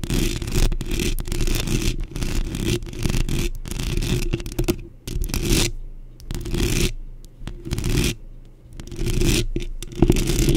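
Long pink acrylic nails on both hands scratch quickly across a black metal mesh microphone grille. The result is bursts of dense, gritty scraping with a heavy low rumble and a bright hiss on top, broken by short quiet gaps.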